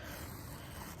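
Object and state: Nothing is struck.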